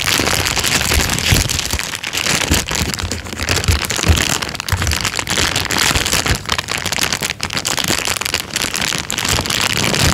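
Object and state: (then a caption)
Clear plastic bag. An empty, thin, clear transparent plastic bag is lifted and crumpled by hand, its film crinkling. A steady, dense rustle of bright crackles fills the whole clip, with brief dips in loudness between handfuls.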